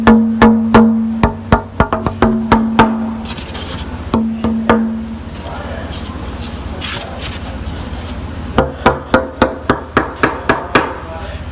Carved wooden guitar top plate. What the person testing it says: Can you hear how those are getting more fuller, more separation, more, you know, more just sort of distinct notes?